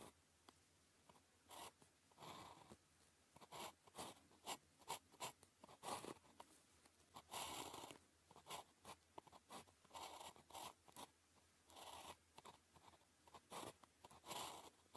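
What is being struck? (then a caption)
Ballpoint pen on a thin paper sheet. A blue ballpoint pen held in the fingers writes characters on a flat sheet of thin paper with a red grid, making quiet, bright scratching strokes. About two dozen short and longer scratches are separated by near-silent pauses as each stroke is drawn.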